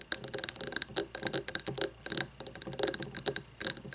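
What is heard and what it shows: Long fingernails tap rapidly on both sides of a frosted glass candle jar filled with white wax, resting on a wooden table. The result is a quick, irregular patter of bright, crisp clicks with very short ring and little low end.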